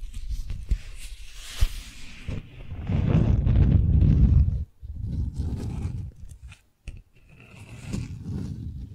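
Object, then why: Beeswax-coated cotton wrap sheet. Long nails scratch and tap a folded, stiff, beeswax-coated cotton sheet, giving a crinkly, papery rustle with a few sharp taps early on. The scraping swells into a dense, loud crackle in the middle, then continues in softer bursts with brief quiet gaps and a single click.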